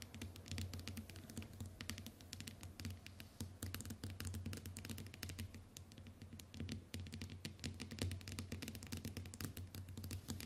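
Long white nails tap rapidly across the glass screen of a small, flat smartphone resting on a wooden table, producing a dense, typing-like stream of sharp, bright clicks. A steady low hum runs underneath the quick, crisp taps throughout.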